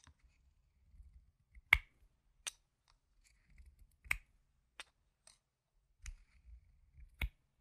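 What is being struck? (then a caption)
Plastic game tokens. Yellow-rimmed solid plastic chip-style tokens are held in one hand and shuffled and clicked together with the fingertips and painted nails. Sharp, bright clicks ring off almost instantly at irregular intervals, with soft, low shuffling rustles in between.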